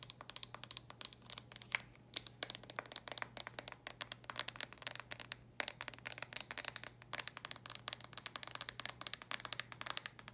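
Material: Plastic.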